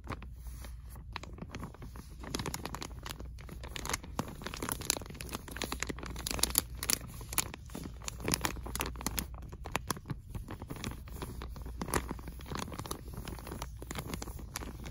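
Fingertips and nails tap and scratch a soft, padded pillow or bedding item sealed in a clear, crinkly plastic film bag on a store shelf. The result is a steady stream of dull taps mixed with bright, crackling plastic crinkles and scratchy rustles over a low, constant background hum.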